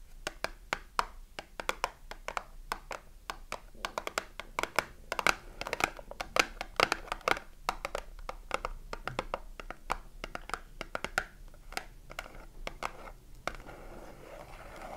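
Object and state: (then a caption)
Cardboard soap box. Long nails tap and scratch the front and edges of a small, closed cardboard soap box held in the hand. A dense run of dry, bright, short clicks alternates between slower and faster tapping, with softer scratching underneath. The taps give way to a steady rustling scrape near the end.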